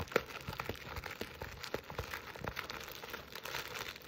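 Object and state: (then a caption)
Burlap stocking scratched. A jute burlap Christmas stocking with a plaid fabric appliqué letter A is held in both hands while long nails scratch and grip the coarse woven fabric and the edges of the appliqué. The result is a quiet, dry, crinkly scratching made of many quick, short scrapes with a bright, rough texture and no ringing afterward.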